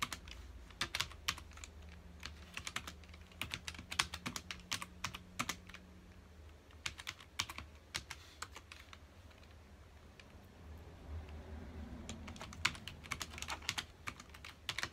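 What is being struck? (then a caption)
Plastic computer keyboard. Fingertips of both hands rapidly press the keys of a full-size black plastic computer keyboard resting on a dark desk. The result is a quick, uneven stream of short, bright, clicky typing taps that die away almost instantly, with brief pauses, over a faint low hum.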